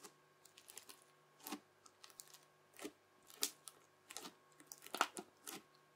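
A yellow plastic knife edge chops and presses ridges into a folded mound of translucent teal bubbly crunchy slime. Irregular, quiet bursts of crisp, bright crackling and popping come one after another, each snapping off quickly, over a faint steady hum.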